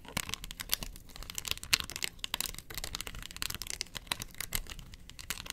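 Long fingernails scratch and rub across the ridged face of a hollow, round yellow plastic box lid held in the hand. The result is a quiet, dense stream of bright, crackly scratching with rapid, irregular clicks and very little low end.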